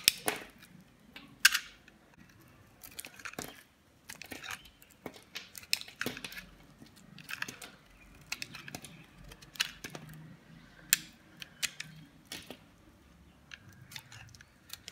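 A metal utility blade scrapes and shaves thin flakes off the surface of a solid teal bar of dry soap held in the palm. Short, crisp, bright scraping and crackling strokes come at an irregular pace, with very little low end and almost no ring after each stroke.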